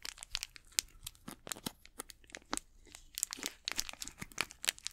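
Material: Plastic film.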